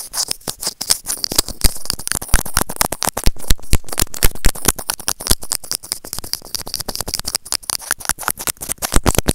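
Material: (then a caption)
Plastic. White plastic serrated tweezers repeatedly scratch and grip the surface of a small, hollow white plastic earphone remote and mic. The result is a dense stream of sharp, dry clicks and scratchy crackles with a heavy low thump and bright, crisp edges. Each hit stops almost instantly.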